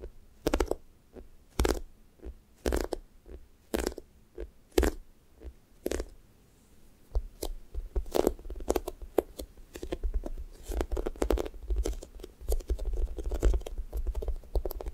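Long nails scratch and tap the pink sticky top of a thick strawberry toast squishy toy made of soft, solid foam. Spaced, sticky crackling bursts with low, dull thuds come first, then give way after a short pause to quicker, denser tapping and scratching.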